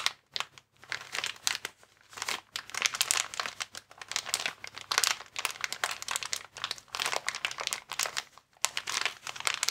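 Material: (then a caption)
Plastic. A transparent, air-filled plastic air column cushion bag, packaging made of vertical inflated air columns, is squeezed with thumbs and fingertips. It makes dense, bright crinkling in rapid overlapping bursts with brief pauses. The sound is sharp and dry with almost no low end and no ring.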